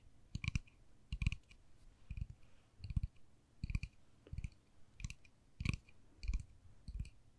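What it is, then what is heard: Plastic case tapped with nails. Long fingernails tap and click on the face of a small, hollow white-and-pink plastic case held upright. The result is a series of short, dry clicks in quick bursts, each with a low hollow thump and a bright clicky edge that dies away almost instantly.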